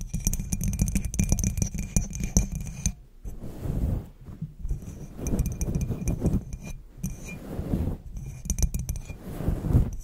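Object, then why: Cut glass knob on a domed lid. Long pointed black acrylic nails tap and scratch a small faceted clear glass or crystal knob on top of a black domed cloche lid. Quick, short glassy clinks and scraping strokes sit over a heavy low-end rumble, with bright glints in the first three seconds. A brief lull follows before the tapping and scratching resume in uneven bursts.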